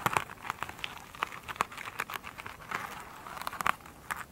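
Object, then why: Foam sponge with glittery woven cover. Long pointed nails scratch a rectangular, soft and solid foam sponge with a glittery woven cover lying on a table, which is tipped upright at the end. The result is a rapid, uneven series of crisp, crinkly scratching bursts, bright and dry with almost no ring, over a quiet, faint hiss.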